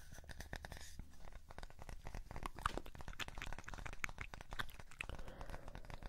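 A light, palm-sized, solid-looking round wooden disc or block with a burned symbol is tapped and scratched with fingertips and nails. Quick, dry taps and scratchy rubbing run together in a steady, quiet stream, mostly low in weight with some brighter clicks. Each touch dies away almost instantly, leaving no ring.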